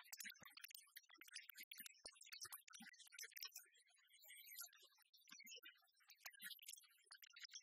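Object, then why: Plastic speaker dock. Long red nails rapidly tap and scratch along the top and glossy side of a small, hollow black plastic iHome speaker dock resting on a wooden table. Quick, crisp clicks and scratches come almost without pause, mostly high and bright, with short hollow knocks underneath and almost no ring after each touch.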